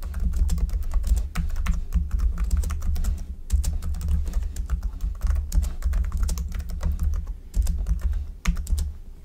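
Fingertips of both hands type rapidly on the hollow-bodied keys of a black plastic computer keyboard resting on a desk. A dense stream of short, dry clicks with bright edges rides over a strong, steady low hum, broken by brief pauses.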